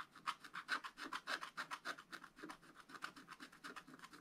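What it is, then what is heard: Scratch-art paper being scratched. A wooden stylus held in the fingers scratches short strokes across a black-coated scratch-art card in a spiral book lying flat. A quick, slightly uneven run of dry, raspy scrapes follows, each a brief bright hiss with no low end. The scratching is quiet and soft throughout.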